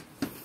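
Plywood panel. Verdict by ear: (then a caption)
Solid. A single dull knock on a very thick plywood panel in a Suzuki DA17V minivan camper build, which sounds solid rather than hollow. The short, low-mid thud dies away almost at once, leaving a faint, quiet background.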